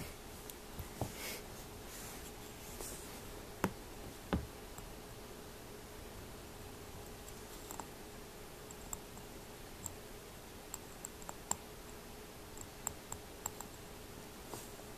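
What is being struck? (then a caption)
Small glass jar. Fingertips and nails tap and touch the glass body and base of a small, hollow cobalt blue glass jar resting on a glossy surface. About 17 quiet, sharp, bright ticks and clicks are scattered across a soft, steady background hiss. Each tap dies away almost instantly.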